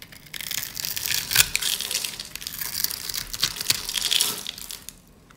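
A metal utility blade cuts scored cubes off a solid yellow rectangular bar of dry soap held in the hands, so the cubes crumble away. A dense, bright, crisp crunching and crackling runs for about five seconds with sharper snaps throughout, then fades to near silence at the end.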